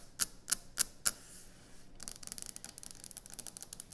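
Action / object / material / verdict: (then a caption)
tap / quartz stone kitchen countertop / quartz stone / none. Long nails tap four times on a solid white speckled quartz kitchen countertop, giving sharp, bright clicks. The tapping then turns into a rapid, steady run of fast, crisp taps and scratches across the stone.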